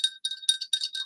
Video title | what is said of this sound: NightSchool: The Study of Humanity | if i shake it really gently you can hear a nice rattle sound